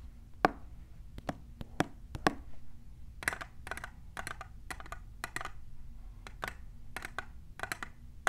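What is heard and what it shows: A tall, clear, hollow printed plastic tumbler is tapped near its base by long nails fitted with plastic clips. The result is a quick series of short, dry clicks with a slight hollow tone. Each tap dies away almost at once over a faint low hum.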